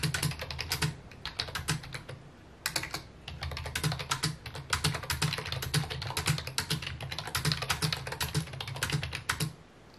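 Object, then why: Plastic computer keyboard. A full-size white and mint plastic computer keyboard with hollow key housings sits on a wooden desk and is typed on with fingertips. Rapid, uneven runs of short, bright clacks ring out, each backed by a low hollow thump. Typing slows briefly around the two-second mark and tapers off at the end.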